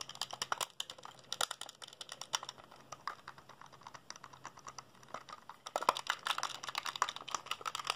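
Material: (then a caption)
Plastic. A small, hollow black plastic PSP handheld console is held in both hands while fingertips rapidly press its buttons and tap its side edges. The result is a dense, fast run of sharp plastic clicks with bright, crisp tops and almost no low end. The clicks cluster into flurries that grow louder and busier near the end.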